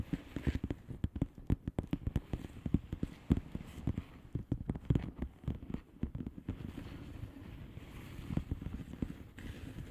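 Long painted nails on both hands tap and scratch the bubbles of a blue plastic bubble wrap mailer lying flat. The result is a quick, uneven patter of short, dull, low-pitched taps with brief scratchy rustles between them. It grows softer and more continuous toward the end.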